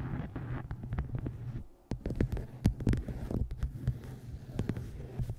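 Fingertips and long nails tap the top edge and cover of a dark hardcover book with a taped photo, resting on a microphone. Soft, quick, dull taps sit over a steady low hum, with a brief quiet pause just before two seconds. Sharper, brighter taps follow, each dying away almost at once.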